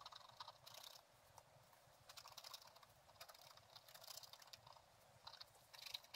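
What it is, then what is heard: Scratch-art paper page being scratched. A thin wooden stylus scratches the left side of a black-coated scratch-art paper page with a gold underlayer, lying flat in a book. Quiet, dry, bright scraping strokes come in short bursts separated by brief pauses, with almost no low end.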